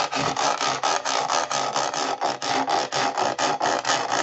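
Fingertips and nails scratch across the ridges and edge of the white ridged sole of a hollow plastic jigsaw-puzzle Converse-style shoe, a Ravensburger 3D puzzle. About 18 quick back-and-forth strokes, roughly two per second, make a dry, raspy, bright scratching. Each stroke is a dense burst of broadband friction noise with almost no low end.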